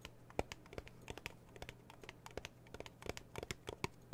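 Long blue nails tap and scratch the printed metal lid of a small red metal tea tin, then a hand lifts and holds the tin. It makes a quiet, irregular run of short, sharp clicks with a faint metallic tone near 465 Hz that dies away almost instantly, alongside soft scratchy rustling and a steady low hum.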